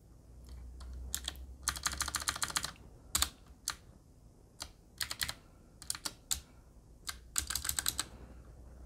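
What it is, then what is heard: Mechanical keyboard with round plastic keycaps. A Qwerkywriter typewriter-style mechanical keyboard with a black metal body and round plastic keycaps is typed on with the fingertips of both hands. Bright, crisp key taps come in quick bursts and scattered single strokes over a faint low hum, each click dying away almost at once.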